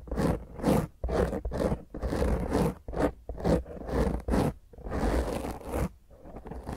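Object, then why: Foam microphone windscreen. Long grey nails of both hands rapidly scratch the top of a black foam windscreen on a round microphone head. Bursts of rough, crunchy scraping swell and cut off in an irregular rhythm, each carrying a dense low rumble.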